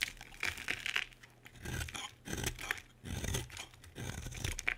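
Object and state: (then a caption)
Bar soap being shaved. A solid pink oval bar of soap held in the hand is shaved with a utility knife blade, scraping off curls and flakes. Bursts of bright, dry scraping and crinkly shaving come in repeated strokes with short quiet gaps between them, plus faint low handling thumps.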